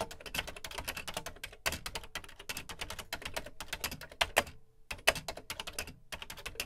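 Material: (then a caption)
Plastic. Fingertips type quickly on the dark plastic keys of a beige plastic Commodore VC 20 home computer keyboard. The result is a rapid, uneven stream of short, bright clicks with almost no ring, broken by a few brief pauses and some sharper, louder strokes.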